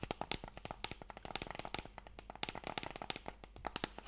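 Fingertips and nails tap quickly on a long, narrow, hollow, light wooden Mikado box held in both hands. The result is a rapid, uneven stream of sharp, dry, bright clicks and knocks with a hollow woody tone, each cut off almost instantly. A faint low hum runs underneath.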